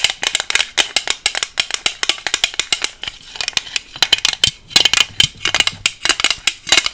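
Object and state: Clear plastic box.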